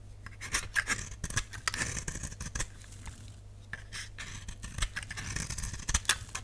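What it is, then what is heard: Dry soap bar scraped with a blade. A utility knife blade scrapes and shaves the face of a solid purple dry soap bar held in the palm. Crisp, bright, papery scraping strokes come in bursts over a steady low hum.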